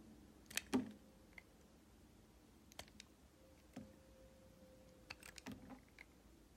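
A solid white bar of vegan soap, held in one hand, is carved with a red utility box-cutter blade so thin curled slivers shave off. Soft, crisp scraping clicks and short bright cuts come in scattered bursts over a quiet background, each dying away almost instantly.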